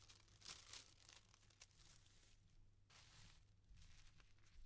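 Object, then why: Thin tissue paper sheets. Thin, stacked yellow tissue paper sheets are lifted, unfolded and smoothed flat by fingertips with dark-painted nails on a velvet-covered table, with unused scissors lying nearby. Soft, bright crinkling and rustling comes in quick bursts over a faint steady low hum, with no lingering ring.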